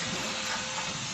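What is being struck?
Nothing is struck.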